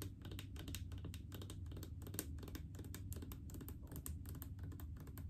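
Long painted fingernails tap rapidly on the faceted side of a large, full blue plastic mouthwash bottle, producing a continuous stream of quick, dry, clicky taps. Each tap is short with almost no ring, over a steady low hum.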